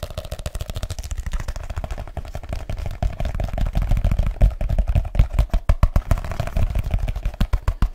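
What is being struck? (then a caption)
Leather case. A black leather case is held up and curved while fingertips tap rapidly and aggressively on its cover. The result is a fast, continuous stream of short, dry, deep thuds with almost no ring, growing louder and more forceful in the second half.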